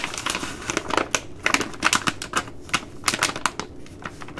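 A Ready Rice plastic laminate pouch is scratched with long nails, then bent and crinkled by hand. Quick, dry, bright crackles and ticks follow one another irregularly, each snapping off almost at once. The crinkling stays light, with little low end.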